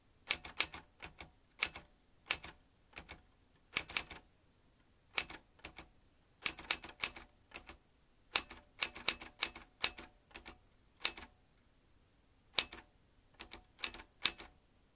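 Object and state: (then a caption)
Metal manual typewriter. Fingertips press the round keys of a vintage metal manual typewriter, swinging its typebars into sharp, bright clacks. The strokes come in uneven bursts of two to four with short pauses between, each snapping off almost at once with very little low end.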